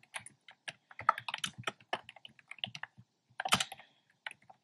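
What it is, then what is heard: Plastic keyboard with round keycaps. Fingertips type steadily on a black plastic keyboard with hollow, round pastel retro keycaps. Quick, sharp clicks come in uneven bursts, bright with very short decay and a slightly hollow knock beneath, and a louder cluster lands near the end.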